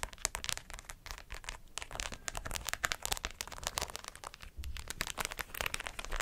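Long acrylic nails scratch a hollow white fabric cap, held in the hand and fully covered in rows of plastic pearls and rhinestones. The result is a dense, steady stream of bright, crackly clicks and scrapes with a faint low rumble underneath, and each tap dies away instantly.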